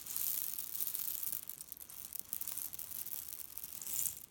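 A hand squeezes a grey leaf-print cotton pillow filled with cherry pits, then lifts one corner and shakes it so the pits rattle inside. The result is a quiet, bright, dense clatter of pits shifting against each other and the fabric, continuous with small swells and almost no low end.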